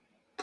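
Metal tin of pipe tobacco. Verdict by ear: Moist.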